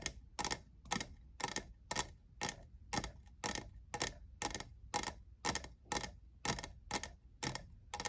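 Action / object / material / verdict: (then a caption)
tap / plastic tumbler / plastic / none. Fingernails tap the sides and logo of a hollow, lavender, diamond-textured plastic cold cup in a steady series of quick, dry clicks, about two per second. Each tap is short and bright with a hollow, plasticky mid-range tone and almost no ring.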